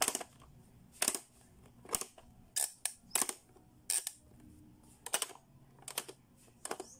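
A blue hollow hard-plastic Playskool pop-up learning toy has its buttons and switches pressed by fingertips, making its lids pop open and snap closed. The result is a series of sharp, bright plastic clicks and clacks, some doubled, separated by short quiet gaps.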